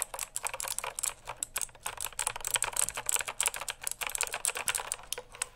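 Fingertips rapidly type and tap on the plastic keycaps of a full-size backlit mechanical keyboard held close to a microphone. A fast, uneven stream of bright, dry clacks with almost no low end fills the clip, and each click dies away instantly.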